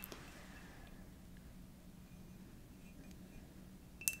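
A hollow, empty-looking purple and dark glazed ceramic mug is tapped twice with long dark nails: a faint tap at the start and a sharper one near the end. Each tap gives a short, bright ring around 2.7 kHz over a quiet, steady low hum.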